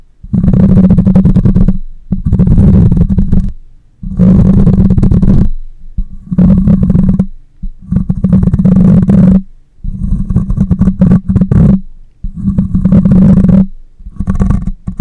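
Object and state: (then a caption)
Metal mesh microphone grille. Long nails scratch the cylindrical, hollow metal mesh grille of a black condenser microphone at the side and front. Loud, dense, low rasping rumbles come in separate bursts about one to two seconds long, with a steady low hum near 190 Hz and faint bright scratchy grit on top.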